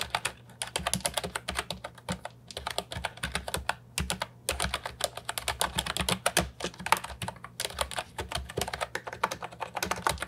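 A brown and white plastic retro Ajazz 308I mechanical keyboard with round keycaps and a hollow body sits on a wooden desk while fingertips type on it continuously. Rapid, sharp, bright clicks and clacks follow one after another in quick bursts with brief pauses. Each keystroke decays almost instantly, and a faint low hum runs underneath.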